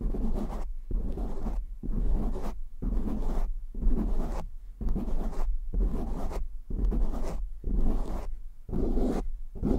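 Short nails scratch fast across a black foam windscreen on a microphone, making rough, muffled scratching in repeated bursts with brief gaps between them. The sound is dull and heavy in the lows, with almost no bright high end.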